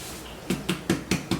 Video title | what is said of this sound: Italian bread for dipping! | When it sounds hollow, it's good.